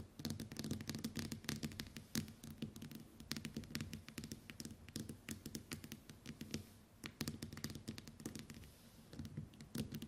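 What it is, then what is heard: Smartphone glass screen. Long white acrylic nails tap and scratch rapidly on the glass screen of a smartphone lying flat on a table. The result is a dense, continuous stream of sharp, bright clicks and scraping strokes over a steady low hum.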